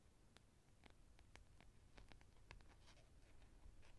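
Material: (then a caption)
Plastic. Long painted nails scratch and run along the spine and teeth of a hand-sized, solid orange plastic wide-tooth comb held in front of a furry windscreen microphone. The sound is a quiet series of short, dry, bright ticks and scratches, with a steady low rumble underneath.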